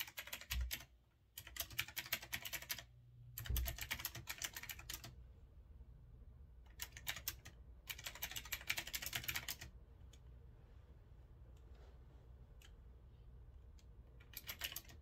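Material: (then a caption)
Metal, plastic. Fingertips type on a small backlit retro typewriter-style mechanical keyboard with a grey metal-look frame, round keycaps and a knob, resting on a wooden desk. Bursts of rapid, bright, clacky keystrokes come in runs separated by short quiet gaps over a low steady hum, with a last flurry at the end.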